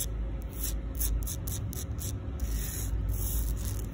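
Long pink acrylic nails scratch and tap across the rough surface of a solid, flat outdoor concrete sidewalk slab, on fingers wearing rings. The sound is a continuous gritty rasping, with repeated bright hissy bursts over a steady low rumble.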